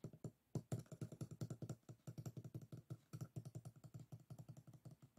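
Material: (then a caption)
Bamboo. Fingertips and nails tap and flick along the closed rib edges of a folded bamboo folding fan resting on a table. About 38 quick, dry, low-pitched taps come in an uneven, steady flurry, each one short with almost no ring.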